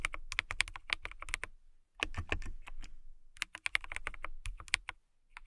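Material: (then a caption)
Acrylic. Long nails type on a clear acrylic mechanical keyboard with transparent clear keycaps, producing rapid, bright, sharp clicks over a soft low thump. The keystrokes come in quick bursts separated by short pauses, each click dying away almost instantly.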